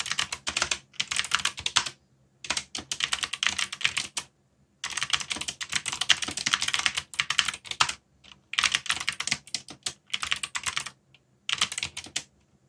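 Dense fingertip typing on a backlit mechanical keyboard with black plastic keycaps, heard as fast, bright, clicky keystrokes in bursts separated by short pauses. Each keystroke is short and crisp, with almost no low end.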